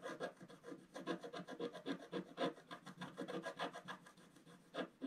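A wooden stylus scratches away the black coating over gold foil paper on a flat scratch-art page, working a spiral area in short strokes while the other hand holds the page. The result is a quick, slightly uneven run of dry, rasping scratches with a mid-range body and a bright papery hiss, each stroke ending abruptly.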